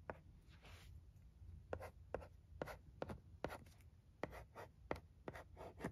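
A wooden pencil tip scratches and taps across the smooth screen of a thin, dark blue flat plastic LCD writing tablet lying on carpet while writing. Quiet, short scratchy strokes and sharp taps come in a steady, irregular series, each dying away almost at once over a low background hum.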